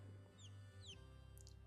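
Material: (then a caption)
Eggshell. An unhatched chicken egg past day 21 is tapped, and high, short downward chirps near 3 kHz answer from inside over a steady low hum, showing the chick is still alive. The egg goes back into the incubator.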